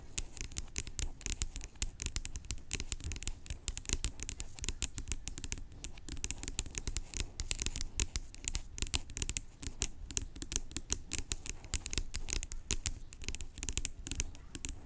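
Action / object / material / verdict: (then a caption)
tap / plastic pump bottle / plastic / none. Long acrylic nails tap the white cap and scratch the label of a large, hollow, blue-labelled plastic pump bottle lying on its side. The result is a dense, continuous stream of sharp, quick-decaying clicks and bright, scratchy rasps over a low, hollow knock.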